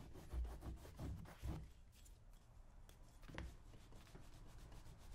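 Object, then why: Leather cowboy boot. A small handheld scraping tool is drawn along the leather shaft of a brown leather cowboy boot worn on a customer's foot, its upper resting on a shoe-shine stand. Soft, dull scraping and rubbing strokes come in quick bursts, heaviest in the first second and a half, then settle into a quieter, steady low rasp.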